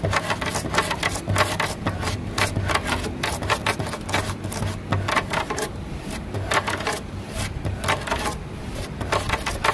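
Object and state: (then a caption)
Wooden table tabletop tapped with nails. Long nails of both hands tap quickly across a grey, weathered solid wood slat tabletop, making a steady stream of short, dry clicks with bright edges and almost no ring. A low, steady hum sits underneath the tapping.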